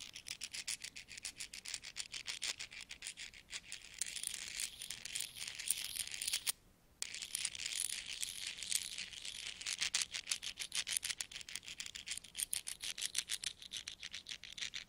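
Small stacks of solid metal coins are pinched between the fingers and rubbed together over a pile of coins. The result is a rapid, uneven stream of bright, high-pitched metallic clicks and scrapes with almost no low end, broken by a brief silence just before the seventh second.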